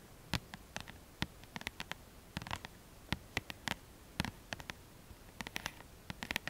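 Long manicured nails painted lilac tap and scratch rapidly on the glossy card front cover of a mid-size paperback book, "Mon guide de Lithothérapie," which has a solid paper block and is held upright in both hands. About 25 short, sharp, bright clicks and scratches come in irregular clusters over a faint steady hiss. Each one stops almost instantly, with no ring.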